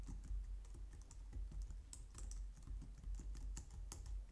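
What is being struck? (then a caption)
Plastic computer keyboard. Long nails and fingertips type on a white low-profile plastic computer keyboard. The result is a steady, irregular stream of soft clicks and taps, with bright sharp ticks over a muffled low thump from the keys.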